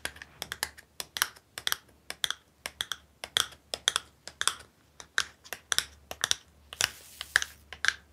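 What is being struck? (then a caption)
Small cardboard box. Long nails tap and scratch a small, hollow printed cardboard box with a purple design held close to the mic. Quick, irregular, crisp taps come in bright, dry clicks with almost no ring. A brief scratchy rasp sounds near the end.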